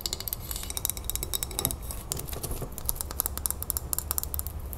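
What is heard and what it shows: Long nails tap quickly on the glass body and lid rim of a full glass salsa jar as it is tilted and turned. The result is a rapid run of sharp, bright clicks with a very short ring over a steady low rumble.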